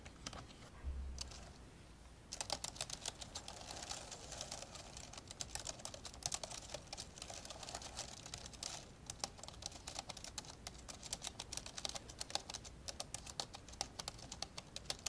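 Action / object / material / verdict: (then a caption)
tap / plastic laptop keyboard keys / plastic / none. An old dark grey plastic laptop lies open while fingertips type fast with both hands on its plastic keys. After a quieter first two seconds with a few faint taps, a dense, steady stream of short, bright clicks and taps runs to the end, each dying away almost instantly.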